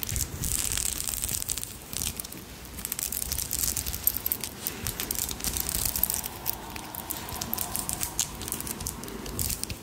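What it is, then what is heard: Pearl bead necklace. A long strand of small, solid, pale pinkish pearl beads is held up in both hands and run through the fingers, then scratched and rubbed with long nails. The beads click against each other in a dense, continuous stream of bright, crisp, rattling taps.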